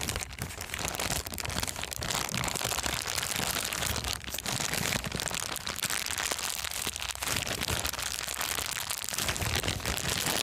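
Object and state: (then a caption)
Clear plastic bag being crumpled. A thin, transparent, empty plastic bag is crumpled and twisted between fingers. It makes a steady, dense, bright crinkling that runs without pause for about ten seconds, with a faint low hum underneath.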